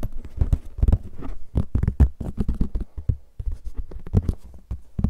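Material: Plastic.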